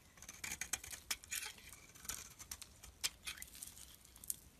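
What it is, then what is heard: Bar soap being scraped. A utility blade scrapes repeatedly across a solid turquoise soap bar held in the palm, peeling off thin shavings. It makes quiet, crisp, bright scraping and crackling strokes that die away quickly, with little low end.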